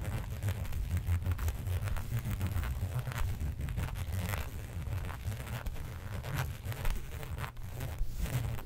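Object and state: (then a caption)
Textured faux leather sheet. Long nails scratch and tap the raised pattern of a flat black embossed faux leather sheet resting on a fur rug. The result is a steady, dense, quiet scratching texture with a soft low rumble underneath, broken by brief crinkly clicks and taps that die away almost instantly.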